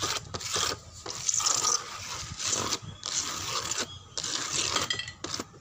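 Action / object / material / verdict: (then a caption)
scrape / wooden door panel and frame / wood / none. Fingernails scratch and pat a dark brown wooden door panel and its frame edge. Bright, raspy scratching strokes come in bursts separated by brief pauses, with soft taps mixed in and almost no low end.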